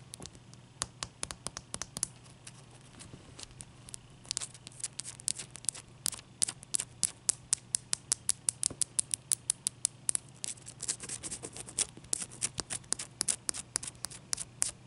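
Long dark-painted nails tap a large, clear, solid ice cube resting on a towel, making rapid, sharp, bright clicks that come in irregular bursts over a faint, steady low hum. Each tap is dry and dies away instantly, with some louder strikes standing out among the quieter ones.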